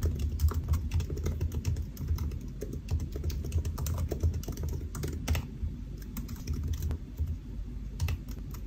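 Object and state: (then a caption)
Laptop keyboard typing. Fingertips of both hands type on a solid silver aluminium laptop with black plastic keys resting on a white desk. A steady, rapid stream of soft key taps with a dull low thump carries through, with brief bright clicks on top and almost no ring after each press.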